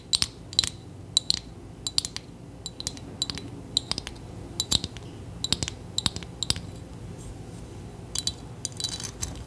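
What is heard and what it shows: Long nails tap and scratch across a small hollow metal trinket box decorated with studs and gems, held in the hands. Many quick, bright clicking taps with a tinny tone around 3.9 kHz die away almost instantly. Soft scratching and a faint steady low background fill the gaps between taps.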